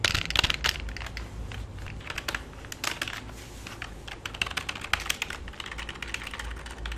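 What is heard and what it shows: Fingertips type rapidly on a full-size black plastic keyboard with a hollow body. A dense run of bright, clicky keystrokes rises and falls, each dying out almost instantly over a faint low hum.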